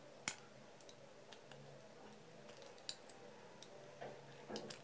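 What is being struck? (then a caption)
Bar of soap cut with a knife. A hand-sized, solid pale-green bar of Palmolive-type soap held in the palm is shaved and carved at its edges by an orange utility knife, with fingertips also rubbing the carved surface. Quiet, dry scraping runs throughout, broken by sharp, bright clicks and snaps as thin slices come away, each dying out almost instantly over a faint low hum.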